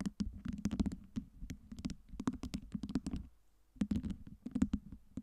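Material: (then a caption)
Acrylic. Long nails scratch and tap the top cubes of a tower of small solid acrylic fake LED ice cubes, while fingers pinch and click them. Rapid, dry clicks and taps with a soft low body come in quick bursts, separated by a brief quiet gap before the tapping resumes.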